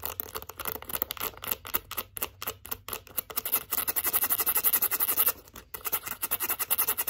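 Long acrylic nails scratch quickly along the metal zipper edge and leather sides of a light-blue leather zip wallet turned on its side. The result is a dense run of rapid, bright, raspy strokes that start uneven and soft, then grow louder and more even in the second half. A brief pause comes just before the end, and the strokes then resume.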